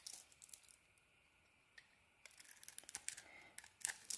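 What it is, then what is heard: Bar of soap being shaved. A solid pink bar of soap held in the hand has its surface shaved off with a craft blade, producing soft, bright scraping and crisp crackling cuts. Quick bursts of shaving come at the start, then a near-silent pause, then denser, irregular cuts toward the end.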